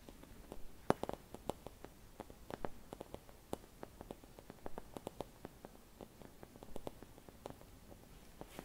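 Long red nails tap and scratch a hollow, empty clear glass Christmas bauble with white painted swirls, held in both hands. The sound is a quiet, irregular series of about thirty short, sharp glassy ticks that die away almost instantly. Faint scratching and a soft low rumble run underneath.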